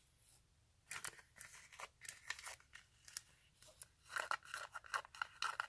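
Long acrylic nails scratch and tap the glittery straps and heel of a silver rhinestone glitter-fabric stiletto sandal held up close. The result is a rapid run of dry, bright, scratchy taps and rasping strokes, each fading almost instantly.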